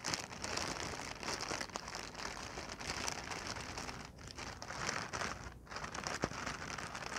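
A clear, hollow, air-filled plastic packing pillow is held and pressed flat on a blanket while long painted nails scratch and tap it. The result is a steady, bright crinkling and crackling with dense short clicks and brief quieter gaps.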